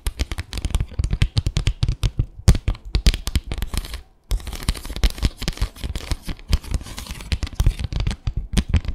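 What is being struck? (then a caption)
Bamboo slat mat. Long acrylic nails rapidly tap and scratch across the slats of a small, flat bamboo slat mat. Dense runs of quick, dry clicks and raspy scrapes are heard, heavy in low thumps with bright crackle on top. The sound pauses briefly near the middle before resuming.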